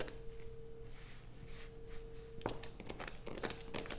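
A solid blue bar of soap, held over a pile of shavings, is scratched with long nails. A steady low hum runs underneath soft, airy scraping, and the second half turns into sharper, crisp clicking scratches.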